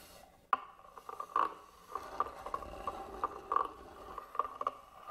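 A small black tool scratches across the carved lid and front side of a hollow, hand-carved wooden box. The result is a quiet, dry scraping texture broken by sharp, irregular clicks that carry a faint tone around 1.2 kHz.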